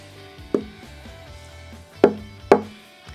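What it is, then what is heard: Guitar soundboard, reference tap tone. Three taps on a carved, voiced spruce soundboard of a J-45 style acoustic guitar, struck right under the sound hole to give a reference tone. Each tap is a short, woody knock centered around 410 Hz that dies away quickly, over a faint steady background hum. The braces have been carved so that tapping different places gives different tones.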